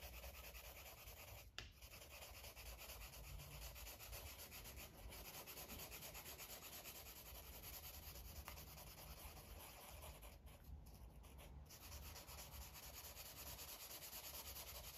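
A green felt-tip marker is rubbed back and forth over a paper coloring book page near the top of the drawing. A steady, quiet scratchy rubbing carries bright hiss over a low background hum, with brief breaks around the second mark and again near the end.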